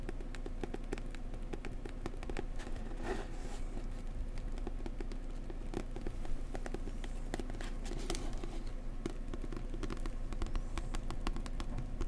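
A book about New Zealand is tapped gently up close with the fingers. The soft, rapid taps are quick and dry, with a muffled, low-heavy tone that holds at a steady, quiet level throughout.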